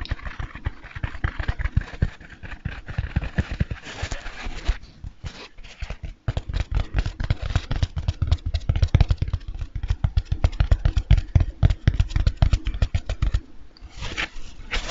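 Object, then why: Foam sponge block. A rectangular soft foam sponge block with white and light-blue layers, porous and not hollow, is held in the hands and scratched and squeezed with fingertips and nails. It makes a dense, irregular stream of short, muffled, low scratching and crackling taps with almost no ring, briefly quieter around the middle and near the end.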